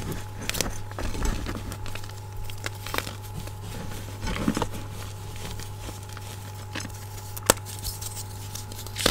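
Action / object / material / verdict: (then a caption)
scrape / block of magnesium carbonate gym chalk / magnesium carbonate / none. A solid white gym chalk block of magnesium carbonate is held over a bowl of chalk powder while fingers break, crumble and snap it in two by hand. Soft crumbly crackles and gritty patter are broken by a few sharp, bright snaps. A steady low hum runs underneath throughout.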